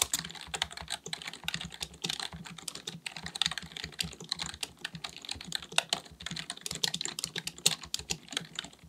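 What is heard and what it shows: Both hands type continuously with their fingertips on a black, full-size, hollow-bodied plastic keyboard, likely mechanical, resting on a desk. The result is a steady stream of rapid, bright, crisp key clicks with very short decay and little low-end weight.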